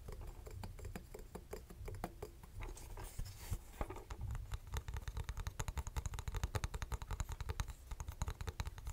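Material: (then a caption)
Metal. Fingernails tap on a small, hollow vintage metal twin-bell alarm clock, first on the face cover and the case, then on the top metal bell. The result is a quiet, irregular stream of crisp, dry clicks with almost no ring and a soft low body, growing a little louder and denser toward the end.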